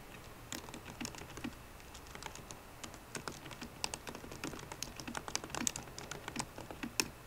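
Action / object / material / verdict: tap / laptop keyboard, plastic keys in metal body / plastic / none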